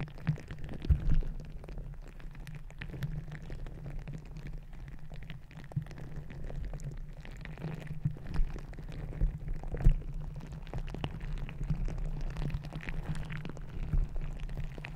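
A green glittery squishy stress ball of soft rubber filled with gel beads is held over the top of a microphone while fingertips and long nails squeeze and scratch it, with contact against the mic grille possibly adding to the sound. The result is a steady, dense, low rumbling squish full of tiny crackles and soft pops. A few louder pops stand out along the way.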